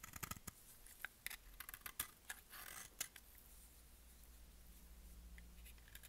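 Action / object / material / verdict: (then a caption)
scrape / bar of soap cut with a blade / soap / none. A utility-knife blade cuts and scrapes a solid, bright-green embossed bar of dry soap held in the hand, shedding flakes. Crisp, bright snaps and scratchy cuts come in quick bursts over the first three seconds, then fade to a soft, steady scraping hiss over a low background hum.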